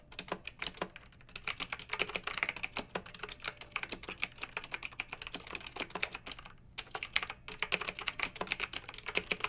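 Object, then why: Plastic mechanical keyboard with round metal-rimmed keycaps. Two hands with long pink nails type with their fingertips on a pink backlit typewriter-style mechanical keyboard with a plastic body and round metal-rimmed keycaps. A rapid run of bright, crisp key clicks fills the clip, each one dying away almost instantly, with a brief pause past the middle before the typing resumes.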